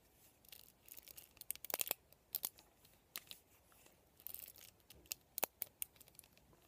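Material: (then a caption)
Plastic. Fingertips and nails scratch and flick across the bristle rows of a black plastic vent hairbrush with plastic pin bristles. Quiet, dry, bright clicks and crackly scratching bursts come in uneven clusters, with almost no low end and no ring after each flick.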